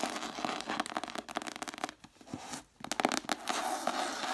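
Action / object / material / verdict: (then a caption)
scrape / cloth-covered hardcover book / cloth, paper / none. Long matte dark nails scratch and tap the cover of a single red cloth-covered hardcover book with a solid paper block inside, standing upright on a wooden table. The result is a dense, dry crackle of fast scratching and quick taps with a bright hiss and almost no low end, broken by two brief near-silent pauses before the scratching resumes.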